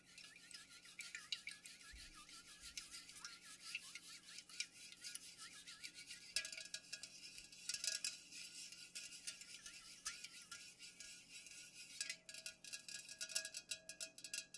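Long nails tap and scratch rapidly along the sides of an unopened, full Pepsi aluminum can standing upright. The sound is a quiet, dense stream of bright clicks and crisp scratching with very short ring, sitting over a faint low steady hum.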